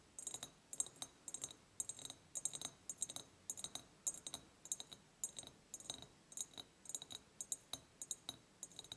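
Long painted nails tap the sides of an empty, medium-sized ribbed clear glass jar in a quick, uneven rhythm of about 38 light clicks. Each tap is sharp and bright with a thin glassy ting that dies away almost instantly, over a quiet background with almost no low end.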